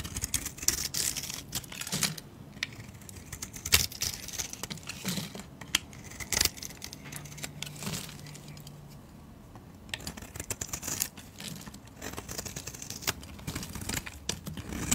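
A solid white bar of soap is held in the hand and shaved into curls with a blade, making a dense run of crisp, bright scraping and crackling sounds. Short, dry snaps come in quick succession, easing briefly into a quieter stretch midway before the steady shaving resumes.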